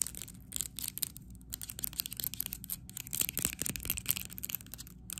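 A small neon paint jar with a plastic screw lid, held close to the camera, is tapped and scratched rapidly with long acrylic nails. The result is a fast, uneven stream of sharp, bright plastic clicks mixed with dry scratching rasps, each tap cutting off almost instantly with no ring.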